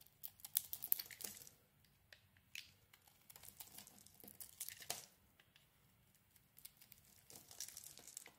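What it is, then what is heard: Bar of soap being carved. A knife blade carves a solid bar of soap, purple outside and pink inside, into flaky chunks. Soft, bright scraping and crisp crumbling come in quick, irregular bursts with brief pauses between strokes. The sound is quiet and mostly high-pitched, with very little low end.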